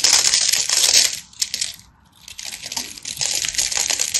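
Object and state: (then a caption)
Bar soap being cut. A hand-sized, solid bar of dry teal and white striped soap is held in the hand and scraped and cut with a craft knife, with flakes falling away. The sound is a dense, bright, crisp crackling scrape, almost entirely high-pitched with no low end. It fades to a brief near-silent pause around the middle of the clip before the scraping picks up again.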